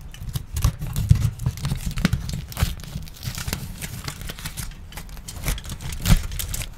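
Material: Aluminium.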